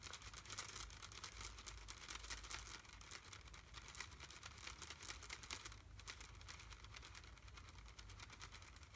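A small, full red plastic candy bag is held in one hand and tapped quickly with fingertips and nails. The result is a steady stream of fast, crisp, crinkly plastic ticks, bright and dense, over a low hum.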